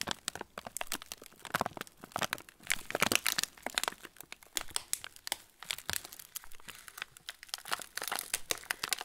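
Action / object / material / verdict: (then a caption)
scrape / plastic film cracker packet / plastic film / none. Fingertips squeeze and rub the clear-and-yellow plastic film of a full TUC cracker packet, handled from its underside. The result is a quiet, continuous stream of dense, bright crinkles and sharp crackles that swell and ease in bursts, with almost no low end.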